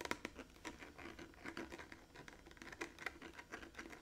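Fingertips and painted nails tap and scratch a large, blue, hollow plastic water jug with a metal cap, held against the body. The result is a quiet, rapid patter of short, dry taps mixed with crisp, bright scratching, with a light hollow tone around 1 kHz and very little low end.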